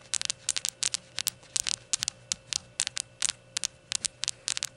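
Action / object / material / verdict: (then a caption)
tap / small ceramic shot glass / ceramic / none. Long gold nails tap and scratch the white unglazed ceramic base of a small rainbow shot glass with printed text, giving 23 quick, bright, high-pitched clicks with almost no ring. A faint steady hum runs underneath.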